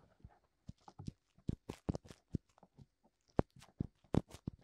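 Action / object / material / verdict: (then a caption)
tap / silicone microphone ear / silicone / none. Fingertips tap and scratch both white silicone ears of a black binaural microphone. A series of short, dry, muffled thumps with brief scratchy rustles between them sits mostly in the low range and stops dead after each touch, with no ring.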